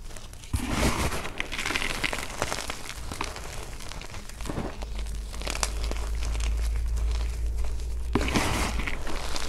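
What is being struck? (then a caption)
Gym chalk chunks and powder. Both hands knead and crush a mound of white gym chalk (magnesium carbonate), mostly powder with small solid, brittle chunks, in a teal plastic basin, using fingers and palms. A steady run of dry crumbling, crunching and crinkling fills the clip, with bright crackles over a low, soft rumble, growing slightly denser toward the end.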